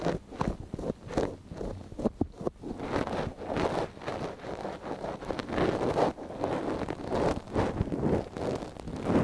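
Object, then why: Silicone dummy ear scraped with a wooden ear pick. A thin wooden ear pick held in a gloved hand scratches inside the canal of a small, hollow white silicone dummy ear on a binaural microphone. The result is a steady run of close, dry, rustling scrapes and soft scratchy taps, with a low-mid body and little high end.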